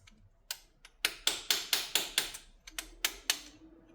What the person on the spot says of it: if I tap it, You can hear it. So I think this one might be loose.